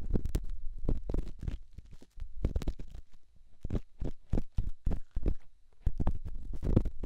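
A solid rough rock held in the fingertips is rubbed and scratched against a silicone microphone ear. It makes a quick, uneven series of muffled, deep thumps and scrapes with almost no high end. Each burst dies away at once, with brief quiet gaps in between.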